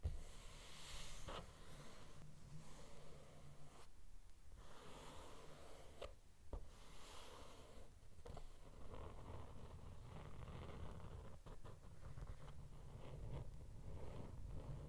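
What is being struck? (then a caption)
Glitter-covered hardcover notebook cover. A closed teal glitter hardcover notebook resting on a red cloth is rubbed by hand across its cover, then slowly scratched with fingertips and nails. The sound is a soft, continuous brushing and scraping with a low rumble underneath and a few brief, sharp clicks.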